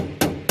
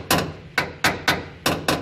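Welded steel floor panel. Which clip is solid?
The second.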